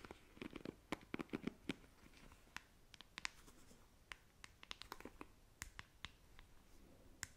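Long nails tap and scratch on a black plastic paddle hairbrush, working over both its smooth back and its bristle side. Quiet, dry clicks and brief bright ticks come in quick irregular bursts, with soft scratchy rustling between them and almost no ring after each tap.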